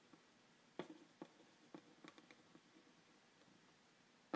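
A pen tip scratches and taps lightly over the front panel of a hollow, printed cardboard phone-stand box held in one hand. Seven quiet, dry taps with a hollow, low-mid body stand out, with faint scratching between them and almost no ring after each hit.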